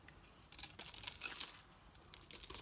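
A metal knife carves curls off a solid green bar of soap with a dark painted coating, held in the hand. The sound is a quiet, bright, dry scraping and crackling, with short crisp strokes that come in bursts and almost no low end.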